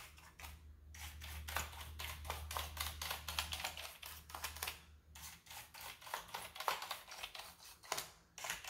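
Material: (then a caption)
Plastic. A wooden-handled bristle brush sweeps back and forth across the keycaps of a full-size black plastic keyboard with a hollow body. Each stroke makes a bright, scratchy hiss, and the strokes come in an uneven, steady rhythm. A low hum sits underneath for the first half of the clip.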